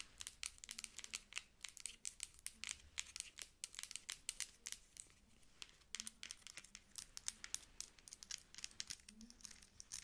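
Long acrylic nails tap and scratch a dark plastic pump lotion bottle with a white label and pump top, held in both hands and turned as it is played. The result is a quiet, dense run of crisp, bright clicks and scratchy rustles, each dry and short with almost no ring.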